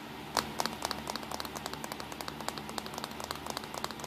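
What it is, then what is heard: Compact digital camera (plastic casing). Fingertips tap quickly on the casing of a small black plastic compact digital camera, its back with buttons, resting on a towel. A rapid, uneven run of short, dry, bright clicks rises over a faint steady low hum, each tap dying away almost at once.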